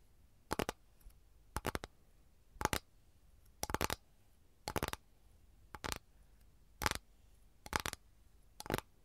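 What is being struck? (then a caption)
Flat capiz shell tray tapped with long nails. Long gold nails tap and scratch on an empty, flat capiz shell tray with a lemon pattern. The result is crisp, bright clicks in short clustered bursts about once a second, each dying away almost instantly over a quiet background.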